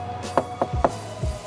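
A custom fiberglass ducktail spoiler on a Honda Accord CM5 is knocked three times to show how thin it was made, yet it is not brittle because of a special material. Each knock is a short, dry, plastic-like tap with almost no ring, over a faint steady tone in the background.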